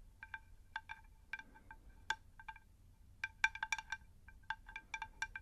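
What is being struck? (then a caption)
Unglazed terracotta plant saucer. Long nails tap the underside of a round, shallow, unglazed terracotta plant saucer in quick, uneven bursts. Each tap gives a short, bright, bell-like ping centred around 1.6 kHz and dies away almost at once, over a faint low rumble.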